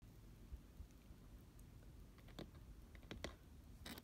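Fingertips and nails of both hands tap and scratch the glittery sides of a hollow, medium pink glitter-coated cardboard cupcake-shaped box with a fluffy fabric lid. Soft, quiet scratching over a low background rumble is broken by a few short, dry taps with bright, crackly edges, clustered mostly in the second half.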